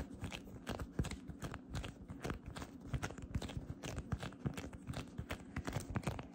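A palm-sized, soft, light-blue fluffy cotton candy cloud slime blob is gripped, stretched and pressed by fingertips with long dark red painted nails, which also poke into its surface. It gives a steady stream of quiet, muffled crackling and squishy crunches, mostly low with little brightness, each pop dying away almost at once.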